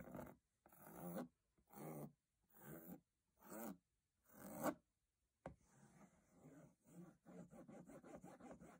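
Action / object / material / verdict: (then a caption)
scrape / textured aluminium case lid / aluminium / none. Fingertips rub across the diamond-textured aluminium lid of a hollow metal box in six separate raspy strokes with short silences between them. A sharp tap follows, then a quicker run of light tapping and rubbing on the lid.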